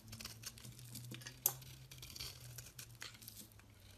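A metal blade scrapes across a palm-sized solid lilac soap bar held in hand, shaving thin curls off the surface. The sound is a soft, bright, crackly scraping with a steady low hum underneath, broken by one sharp click about halfway through.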